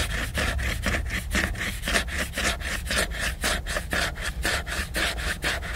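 Fingernails scratch the glossy laminated cover of a large picture book. The steady, rhythmic back-and-forth rasping comes at about two strokes per second, a bright, hissing scrape over a low, continuous rumble.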